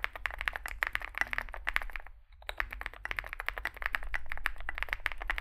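Two hands type with their fingertips on a Zoom65 65% mechanical keyboard resting on a desk mat; it has a dark metal case (likely aluminum), white and grey SA-profile plastic keycaps and lubed switches. Rapid, crisp key taps with a bright clack centered near 2 kHz continue throughout, pausing briefly just after the two-second mark. A steady low rumble sits underneath.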